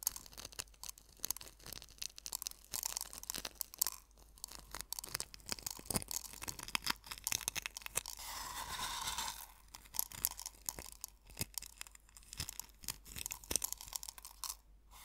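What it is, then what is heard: Coarse sea salt crunched by fingers. Fingertips and nails pinch and rub coarse sea salt crystals in a small hollow wooden bowl partly filled with salt. Dense, bright crunching and crackling runs throughout, with a smoother, steadier rubbing hiss around the middle before the sharp crunches return.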